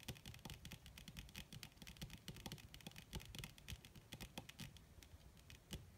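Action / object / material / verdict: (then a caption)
tap / leather surface / leather / none. Long red fingernails of both hands tap fast on a flat black crinkled leather (or faux leather) surface. The result is a rapid, uneven patter of short, dry clicks with bright ticks over soft, low thumps, each tap dying away almost at once.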